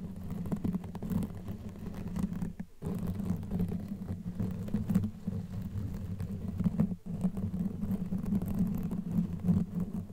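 Long nails scratch across a black knitted yarn cover over a microphone head, with both hands working throughout. The result is a dense, muffled, rumbling scratch that stays low and warm with almost no high or bright content, pausing briefly near 2.7 and 7 seconds.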